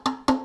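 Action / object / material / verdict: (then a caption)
tap / cup / unknown / empty. An empty cup is tapped three times, each strike giving a short, resonant, ringing tone with a clear pitch near 900 Hz and bright overtones. The sound rings because the vibrations bounce off the inside of the empty cup.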